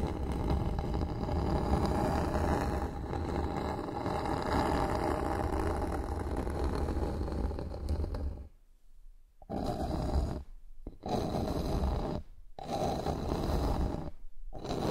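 Long nails on both hands scratch across a flat, solid bamboo wooden board lying on a surface. A dense, steady rasping with a low, rumbling body runs for about eight seconds, then breaks into four shorter scratching bursts separated by brief silences.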